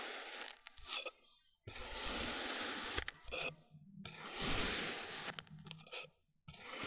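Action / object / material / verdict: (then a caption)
scrape / block of kinetic sand / kinetic sand / none. A wavy-edged metal blade slices repeatedly through a brick-sized rectangular block of glowing orange kinetic sand, each cut sliding and scraping through the packed sand. Every stroke makes a long, bright, hissing scrape with a soft grainy crunch, separated by brief near-silent pauses.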